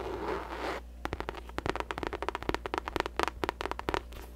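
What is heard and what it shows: Long nails scratch and then tap on a hollow pink faux leather drawstring bucket bag. A brief soft, rustling scratch gives way to a quick, irregular series of about twenty sharp, dry taps with almost no ring, over a faint steady low hum.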